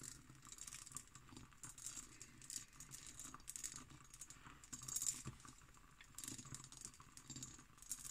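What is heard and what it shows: An empty textured cut glass decanter with its glass stopper, standing on a table, is tapped and scratched with long nails. Quiet, bright clicks and scratchy rasps with a faint glassy ring come in quick, irregular bursts over a soft low hum.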